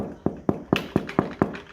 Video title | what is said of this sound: Step 8. Time to Bake | You kind of want a nice hollow sound to it when you knock on the bottom like that.